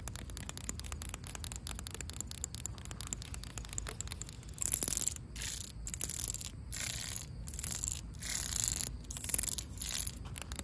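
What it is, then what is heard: Asphalt pavement scratched with fingernails. Long pink acrylic nails scratch across solid, cracked asphalt pavement, making a dry, gritty scraping. It starts as a run of quick light clicks and scratches, then moves into several louder, bright rasping strokes separated by short pauses.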